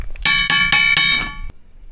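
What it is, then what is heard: Ringing rock with a metallic tone. A ringing rock near Amirgadh in Gujarat, which makes a metallic sound like a Tibetan singing bowl, is struck four times in quick succession. Each strike gives a bright metallic clang with a high, bell-like ring around 2.2 kHz. The ringing then cuts off abruptly with a short click, leaving faint background noise.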